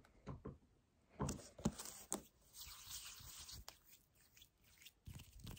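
An empty 1 L white paperboard kefir carton is gripped and squeezed while a nail scratches along its sides. Soft crunches and crinkles alternate with bright, raspy scratching, including a sustained scratchy stretch in the middle. The sounds come at an uneven pace with quiet gaps between them.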